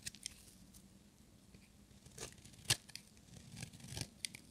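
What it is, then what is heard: Dry bar of soap. A small, solid, dry bar of pink-and-white striped soap is held in one hand and shaved with a metal utility-knife blade, making crumbly flakes. Quiet, dry, bright scraping strokes come in short, irregular bursts, with a few sharper crisp cuts standing out. Each stroke stops almost at once, with no ring.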